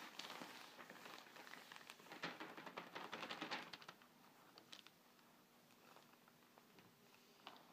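Both hands rub a flat, glossy paper furniture advertising flyer lying on a table with flat fingers, then fingernails scratch the page. Dense, bright crinkling and swishing fills the first few seconds, then it drops to quieter, sparse scratches with a few sharp strokes near the end.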